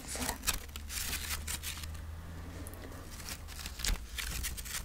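A folded book-page paper pumpkin with a twig stem and fabric leaves is held close, its paper pages scratched and riffled with long nails. Dry, crinkly scratching and rustling bursts come in quick succession over a steady low hum.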